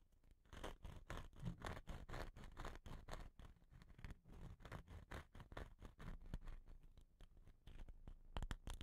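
Fingernails scratch and tap along a hollow, dot-painted wooden rain stick with a rattan end. The result is a quiet, rapid run of short, dry scratching and tapping strokes with a low, thumpy body and brief bright edges.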